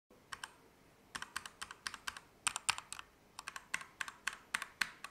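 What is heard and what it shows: A compact Keychron K2 mechanical keyboard with Gateron Red switches, dark plastic keycaps, an aluminum frame and RGB backlight sits on a desk mat while both hands type on the keys with their fingertips. About 28 bright, dry clacks sound in quick, uneven bursts with short pauses between them, each press dying away almost instantly.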